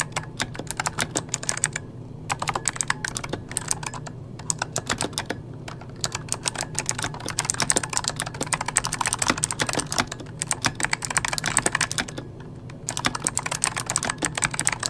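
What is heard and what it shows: Fingertips of both hands type rapidly on a full-size backlit mechanical computer keyboard with plastic keycaps. It makes dense, bright, sharp clicks that stop almost instantly, over a faint low hum. The typing comes in bursts with brief pauses in between.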